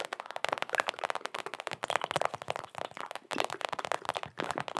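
A small, hollow Knicks mini rubber basketball is tapped and scratched with long acrylic nails. A rapid, dense run of short, dry taps and scratchy crackles is heard, centered around 750 Hz with a bright edge and almost no low end. Each hit stops instantly with no ring.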